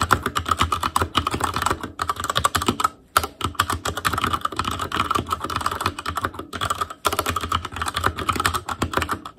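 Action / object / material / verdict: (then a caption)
tap / mechanical keyboard with plastic keycaps / plastic / none. Both hands type with their fingertips on an Asus Claymore Core mechanical keyboard with plastic keycaps. A fast, steady run of short, sharp clacks centred around 1.4 kHz is heard, with brief pauses near the 3- and 7-second marks before the typing picks back up.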